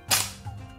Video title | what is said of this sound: 2 - differt type of Japanese sword | こういうな音ですチーンというな音じゃないわですね